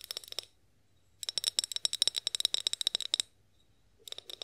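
Long acrylic nails tap quickly on a tall, clear, partly filled glass olive oil bottle with a spout, held upright and then tilted. The clicks are bright and glassy with a faint ring near 3.9 kHz. They come in a short burst, a longer steady run, and a brief final flurry, separated by quiet gaps.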